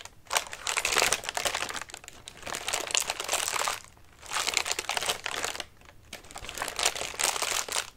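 Fingertips scratch and press the crinkly paper of a large orange paper lantern with thin wire ribs, hollow and collapsed flat. Four waves of dense, bright crinkling and rustling rise and fade, separated by brief quieter gaps.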